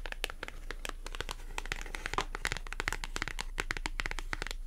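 Long acrylic nails scratch and tap rapidly across the surface of a small, thin white paper clothing price tag with a barcode, held in the fingers. The result is a dense, steady stream of crisp, bright clicks and papery crinkling scratches, each dying away almost instantly.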